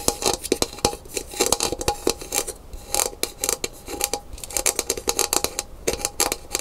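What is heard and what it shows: Long pink nails tap and scratch along the thin handle and hollow body of a brown painted gourd maraca lying on its side on a wooden table. Quick, dry, bright clicks come in rapid bursts with brief scratchy rasps between them, and each tap dies away almost instantly. A faint hollow tone near 500 Hz sits under the clicks, with very little low end.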